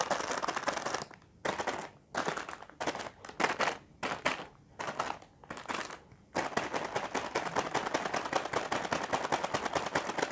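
A full, sealed plastic film packet of Indomie Mi Goreng Sambal Matah instant noodles, with a dry noodle brick inside, is tapped and scratched with the fingertips and nails of both hands. Short bursts of crisp, crinkly tapping are broken by brief pauses for the first six seconds. Then a steady stream of rapid tapping and scratching runs to the end.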